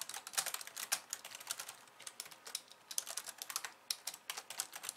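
Long nails type fast with both hands on a pink plastic slim keyboard with white keys. Rapid, bright, clicky taps come in quick bursts with brief pauses, each tap sharp and dry with almost no ring or low end.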